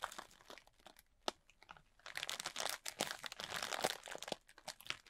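A large clear plastic bag, full and tightly packed with small white polystyrene foam beads, is held upright while both hands scratch and squeeze its surface with fingertips and short nails. Sparse, quiet crinkles and ticks give way after about two seconds to dense, continuous crunching and rustling. The sound is bright and dry, with almost no low end.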